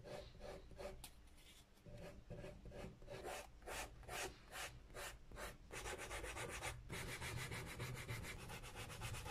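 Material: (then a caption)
Leather, rubber. A white abrasive file block is rubbed and sanded along the white rubber sole edge and the leather toe and heel of a hollow, empty brown leather Dr. Martens Solaris sneaker held in hand. Repeated rasping strokes start out spaced apart, then come faster and denser toward the end, with bright, hissy scraping over a low body.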